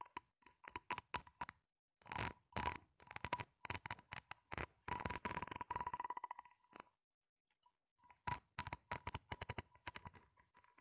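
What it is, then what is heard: Corrugated plastic tube scratched along its ribs. Long pink-painted nails scratch along the ridges of a grey, ribbed, flexible plastic hose, hollow and empty and about 25 cm long, held in both hands. Bursts of fast, crisp clicking rasps ring with a steady tone near 1 kHz. A near-silent pause falls around 7 to 8 seconds before the scratching resumes.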